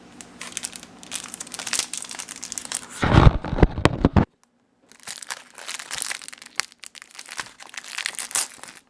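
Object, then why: Paper popcorn bag in plastic film wrapper. Fingertips press and crinkle a flat, unpopped paper microwave popcorn bag in a clear plastic cellophane wrapper lying on a stovetop, then lift and handle the wrapper. The bright, rapid crinkling of the plastic film peaks in a louder, fuller crunch near the middle, breaks off into a brief silence, then resumes as steady crinkling.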